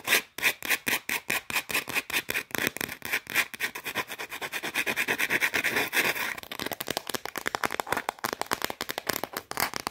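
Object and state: Shortbread cookie.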